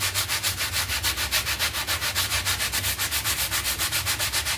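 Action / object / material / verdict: scrape / synthetic pile carpet mat / synthetic pile / none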